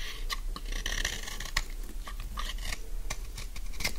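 A metal utility knife blade shaves and scrapes along the edge of a solid pink bar of dry soap, about palm length, held in one hand, and curls of soap fall onto a pile of shavings. Quick dry, crisp scraping and crunching strokes with bright, rasping edges repeat over a steady low hum.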